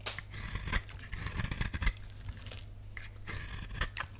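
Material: Soap.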